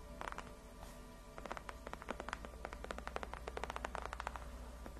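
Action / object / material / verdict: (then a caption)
scrape / padded faux-leather chair backrest / faux leather / none. Long nails quickly rub and scratch the surface of a large white padded faux-leather (PU) gaming chair backrest, which is solid and cushioned. A rapid series of short, crisp scratchy taps with bright edges comes in quick bursts over a steady low hum.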